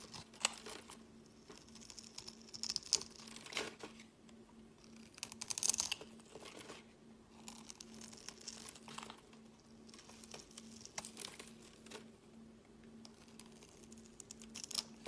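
A utility knife blade scores a grid pattern into a solid, translucent yellow glycerin soap bar, palm-sized and held in the hand, then scrapes off cubes. The result is a quiet run of crisp, bright, crinkly scratches and tiny clicks with brief louder crunches, over a faint steady hum.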